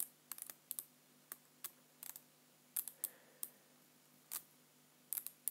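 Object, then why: Plastic computer keyboard. Fingertips type quickly on the keys of a black plastic computer keyboard. About seventeen short, bright plastic clicks come in uneven bursts and single taps over a quiet, low steady hum. Each click dies away almost instantly.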